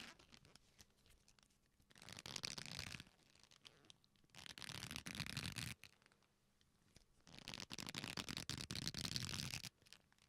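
A black leather belt, a flat solid strap, is folded into a loop and squeezed and rubbed with both hands, creaking. Three bursts of dense, bright crackling creaks are heard, each lasting about one to two seconds. Quieter pauses with faint handling noise separate the bursts.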